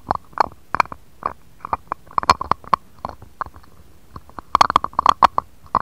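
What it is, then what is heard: Glass dish. A jade face roller with a green stone roller and metal handle is rolled and tapped across an empty, shallow, round, clear patterned glass dish lying on a cutting mat. About twenty-two short, dry clicks and taps sound with a glassy tone near 1.1 kHz, spaced irregularly and bunching into a quick flurry near the end. Each tap dies away almost instantly.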